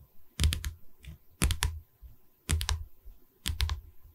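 The top edge of a pine canvas stretcher bar, held upright behind the mic, is tapped with long red nails in four quick bursts of three. Each tap gives a crisp, bright click over a soft, low wooden thud that dies away almost at once.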